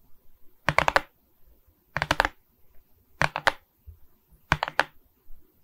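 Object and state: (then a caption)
Resin rhinestone diamond painting. Long nails tap across the resin bead surface of a rhinestone diamond painting on a wooden frame. Four quick bursts of crisp, bright clicking stand out, with faint soft ticks in the quiet gaps between them. Each click is dry and dies away at once.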